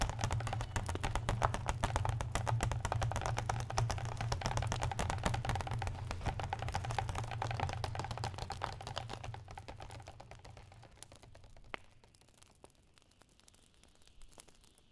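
Fingertips and nails tap and scratch the marbled paper endpapers of an open hardcover book lying flat, while a hand rubs across the page. Dense, rapid dry tapping and scratching sits over a steady low hum for about ten seconds, then fades into quieter, sparse taps with a few brighter clicks.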